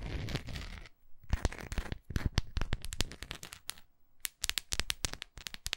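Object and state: Wax pillar candle.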